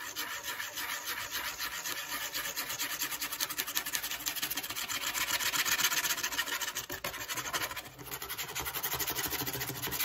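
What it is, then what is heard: Corrugated cardboard being scratched. Long acrylic fake nails scratch along the fluted edge and face of a flat brown corrugated cardboard piece held by its edge. The result is a rapid, dry, raspy scratching that is bright and hissy with almost no low end. It runs steadily, briefly dips near the seven- and eight-second marks, then resumes.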